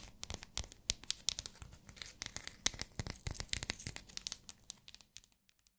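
Long nails tap and scratch a small, translucent pink, solid glycerin soap bar, making a rapid run of sharp, bright clicks over a faint scraping hiss. The taps thin out and fade away toward the end.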